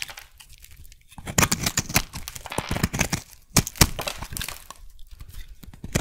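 A metal blade scrapes a solid white soap bar with a bumpy surface, shaving off flakes and curls. Dry, crackling scrapes and crisp bright snaps come in irregular bursts, with quieter pauses just before one second and around five seconds.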